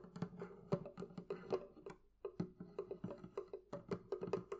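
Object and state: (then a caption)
Wooden barrel chest. Fingertips and nails tap on the wooden part of a thrift-shop barrel chest. They make an irregular run of short, hollow, woody knocks with a low resonant tone around 170 Hz. Each knock dies away almost at once, with a brief pause midway through.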